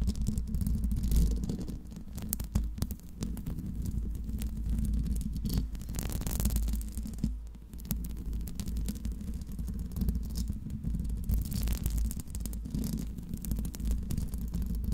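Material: Metal mesh.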